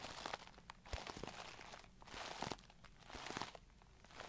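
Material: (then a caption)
Plastic. A clear plastic brush case with a glitter lid and brushes inside is tapped and scratched with long nails. Crisp, crinkly scratching comes in waves, with sharp taps scattered irregularly throughout and a low thump near the start.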